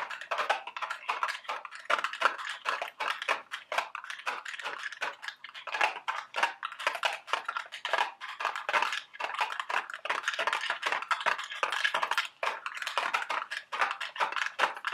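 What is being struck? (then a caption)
Small cardboard box. Long red acrylic nails tap and scratch a small, hollow printed cardboard candy box of Dubble Bubble gum Easter eggs held up in both hands. A continuous flurry of quick, dry clicks and scrapes fills the clip, bright in the upper mids with no low end.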